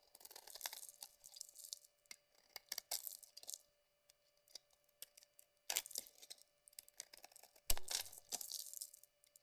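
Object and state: Bar of soap being carved.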